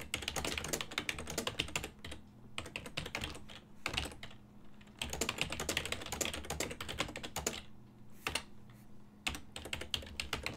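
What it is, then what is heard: Plastic computer keyboard. Fingertips of both hands type on a full-size black and silver plastic desktop keyboard whose keys sit on a hollow body. Bursts of rapid, bright, dry clicking clatter in runs, broken by short quieter pauses, over a faint steady low hum. Each keystroke dies away almost instantly.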